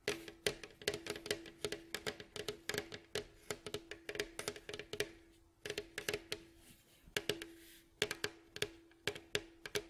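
Both hands tap and scratch with fingertips and short nails on the rounded, hollow bowl back of a mandolin, made of alternating light and red-brown glossy wood staves and lying face down on a fabric mat. The result is a quick run of dry, bright wooden clicks and taps with very short ring, over a faint steady low hum, with brief soft scratching between bursts.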